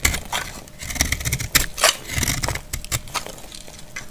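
A metal utility blade scrapes and cuts a solid, dry, palm-sized pink speckled soap bar, breaking off crumbly shavings. A rapid, irregular run of crisp, bright scraping crunches and crackles sits over soft low thuds, each one short and dry with almost no ring.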